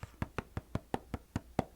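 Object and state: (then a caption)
Cardboard oatmeal box. Steady taps on a cardboard box of Bob's Red Mill oatmeal packets give ten short, dull knocks. Each knock is low and hollow and dies away almost at once.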